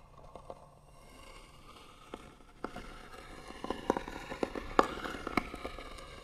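Long nails slowly and firmly scratch the lid of a small, hollow, white-painted wooden box. The scratching starts faint and sparse, then grows louder and denser in the second half, a dry rasp centered around 1 kHz. Short, sharp clicking catches stand out over it, with no ringing afterward.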